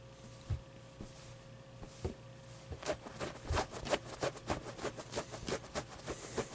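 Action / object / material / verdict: tap / stuffed plush toy with polyester fabric and fuzzy pile / polyester plush / none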